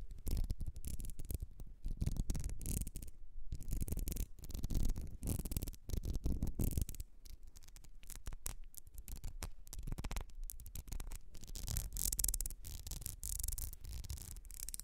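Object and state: Ribbed glass perfume bottle.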